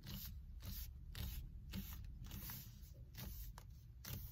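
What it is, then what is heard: Leather-wrapped steering wheel being rubbed. Fingers with long red nails grip, squeeze and rub the black stitched leather or faux-leather cover on a solid car steering wheel rim. Repeated soft, bright scraping swishes come at an uneven pace over a steady low rumble.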